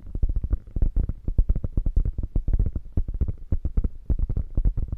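Long fingernails scratch across the stitched diamonds of a padded quilted panel on a hollow beige quilted faux leather bag. The result is a rapid, uneven run of short, dull, low-heavy scratching ticks with almost no ring and no high brightness.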